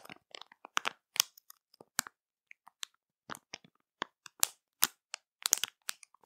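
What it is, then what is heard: Crinkly plastic candy bag. A colorful printed plastic candy bag, full of sweets and puffy, is tapped, scratched and pressed by long matte nails. Sharp, bright crinkles and crackles come in quick, irregular bursts with silent gaps between them. Each sound dies away almost at once.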